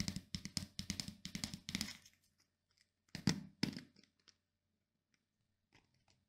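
Fingernails scratch and strum the black plastic pins of a pink plastic paddle hairbrush and tap its hollow plastic back. A quick run of bright, raspy strums with a low hollow knock underneath fills the first two seconds. Two louder strokes follow, then only faint scattered ticks.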